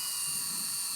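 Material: Nothing is struck.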